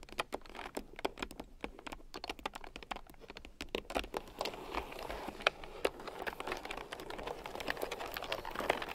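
A red plastic keyboard with round, typewriter-style plastic keycaps, lying on a fur rug, is typed on with fingertips and long nails. A steady stream of crisp, fast clicking taps is heard, centered in the mid range with bright edges and almost no ring. The typing grows denser and slightly louder toward the end.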